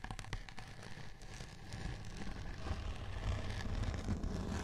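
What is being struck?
Glitter-coated cardboard board.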